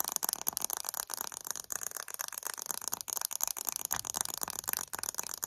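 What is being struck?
Small glass jar filled with candle wax.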